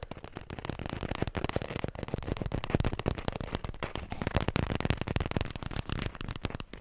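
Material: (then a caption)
Paper. A small, full roll of white paper toilet tissue on a cardboard core, held close to the mic, is tapped quickly with the fingertips and long nails. The result is a dense, continuous patter of soft, muffled thuds with a low, papery body and a faint crackly edge. Each tap dies almost instantly.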